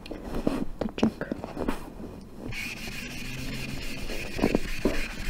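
A green eraser or sponge held in the fingers rubs across a small hand-held blackboard in a wooden frame, wiping chalk letters off the flat solid board. Short scuffing strokes are followed by a steadier, brighter rubbing hiss, then a few more quick strokes at the end.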